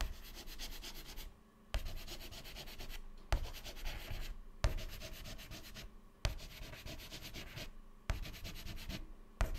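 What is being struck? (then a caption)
White chalk on a chalkboard. Fingertips hold a stick of white chalk and scribble rapid zigzags inside the grid cells of a black chalkboard panel, scratching and rubbing. The gritty, broadband scrubbing comes in seven bursts, each opening with a sharp tap of the chalk striking the board and separated by brief pauses.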